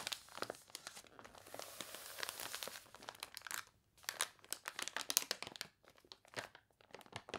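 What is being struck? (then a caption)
Water-warped paper catalog pages. Long nails scratch and rub across the wavy pages of a water-warped paper toy catalog, making dense, bright crinkling and crunching with many quick, dry bursts. After a brief pause, a page is turned, followed by more sharp, crackly rustling.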